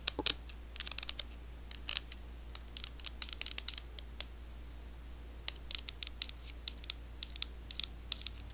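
Long blue acrylic nails tap the hollow body of a handheld pink and white plastic electric facial cleansing brush. The result is an irregular run of sharp, bright plastic clicks, some in quick clusters and some spaced apart, each dying away instantly. A steady low hum sits underneath.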